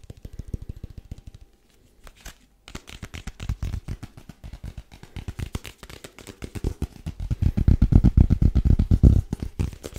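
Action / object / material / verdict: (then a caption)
tap / small rigid paperboard box / paperboard / none. A small, hollow, rigid white paperboard box is tapped with the fingertips while held flat and upright, giving rapid, uneven runs of short, dull, low thuds at about four per second. The tapping pauses briefly near two seconds, then resumes and grows louder and fuller toward the end.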